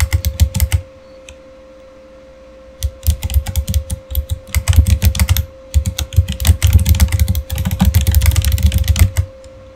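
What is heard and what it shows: Fingertips type on a Razer mechanical keyboard with plastic keycaps and RGB backlight, producing rapid, uneven bursts of sharp clacky keystrokes with a deep thocky body. The typing pauses briefly near the start and again around the middle, while a faint steady hum runs underneath throughout.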